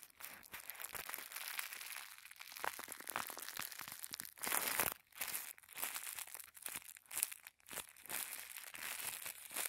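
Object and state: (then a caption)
Thin tissue paper being crinkled. A small folded packet of thin white tissue paper is squeezed and crinkled between thumbs and fingertips. The result is a dense, bright crinkling with sharp crackles and almost no low end, broken by brief quiet gaps before the rustling resumes.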